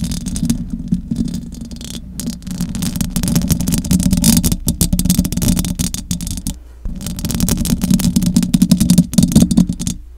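Long acrylic nails scratch the metal mesh grille of a large silver condenser microphone. The result is a dense, rough, continuous scratching with a heavy low rumble and bright crackle, broken by a short lull before the scratching resumes and grows louder.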